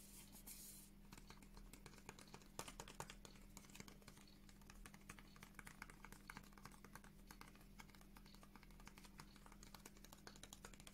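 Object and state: Cardboard box tapped and scratched with nails.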